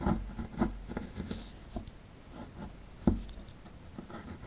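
A metal pick scratches and chips at the right side of a solid plaster fossil dig block, knocking off plaster crumbs. Dull, low scraping is broken by several short, dry clicks, with a sharp chip near the three-second mark. The sound stays muffled and close, with almost no ring after each knock.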